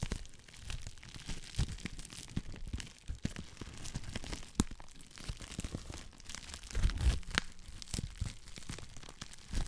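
A clear plastic bubble wrap sheet is stretched, crinkled and scratched with long black nails. The result is a dense, continuous stream of crinkling, crackling and sharp scratchy clicks with bright hiss over a low rumbling undertone. Louder crackles stand out around the middle and near the seven-second mark.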